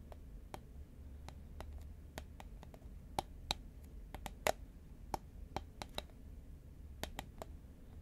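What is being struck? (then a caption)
Cardboard chip can. Fingernails tap quickly on the side of a tall cylindrical composite paperboard Pringles chip can held horizontally in both hands. The taps are short, dry, hollow clicks with a faint tone near 600 Hz, spread unevenly over the clip. They die away almost instantly over a steady low hum.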